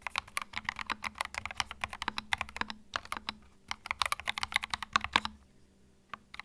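Fingertips type continuously on a compact white mechanical keyboard with plastic keycaps, producing a rapid stream of sharp, bright clicks and clacks that die away almost instantly. The typing runs steadily for about five seconds, falls quiet briefly, then resumes with a few final keystrokes.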